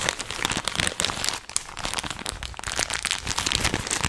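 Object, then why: Plastic snack wrapper. An apparently empty, hollow and flexible blue and white printed plastic snack bag is held in both hands and crumpled and squeezed with the fingertips. It makes a steady run of dense, bright crinkling and crackling, mostly in the high range. The sound eases briefly around the middle before picking back up.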